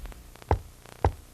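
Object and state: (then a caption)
Solid wooden door. Two knocks on a wooden interior access door from the garage or basement, struck to tell whether it is solid or hollow. Each knock is a dull, low thud with almost no ring, and the door is judged solid.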